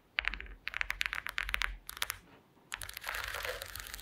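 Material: Wood.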